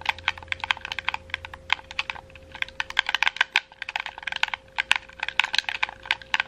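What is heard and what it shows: A red, wired, hollow plastic gamepad is held in both hands while fingertips and nails rapidly click its buttons and shoulder triggers. The result is a fast, irregular stream of short, dry, bright plastic clicks with almost no ring. A faint steady tone sits underneath.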